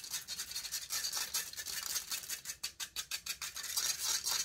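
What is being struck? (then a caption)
Metal mesh microphone grille. Long fingernails scratch aggressively across the hollow metal mesh grille of a silver condenser microphone. The result is a rapid run of bright, raspy scratching strokes, almost entirely high-pitched with no low end, swelling and fading in quick bursts.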